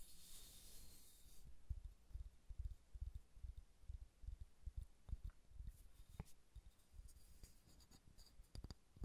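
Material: Wood.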